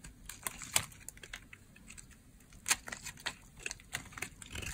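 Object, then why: Bar soap cut with a blade. A hand-held white solid bar of dry soap has its edges cut with a utility blade. The blade makes a series of short, crisp, crunchy scrapes and snaps, irregularly spaced and bright, each dying away almost at once.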